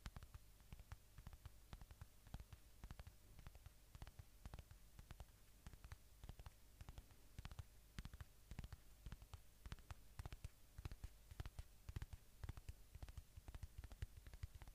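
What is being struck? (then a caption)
Polyurethane foam squishy toy. Fingertips and nails tap and scratch the surface of a watermelon-slice polyurethane foam squishy toy held close to the microphone. A quiet, steady stream of rapid, soft, dull taps with a low, muffled body is heard, each cut short with almost no ring, and faint bright scratchy clicks run between them.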